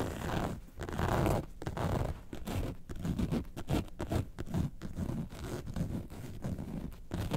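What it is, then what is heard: Faux leather carton-shaped bag scratched with nails. Long nails scratch a yellow faux leather bag shaped like a lemonade carton, first lying on its side and then stood upright. The result is a steady run of rough, scratchy strokes in quick uneven bursts, with a dull, muffled, low-heavy texture and very little brightness.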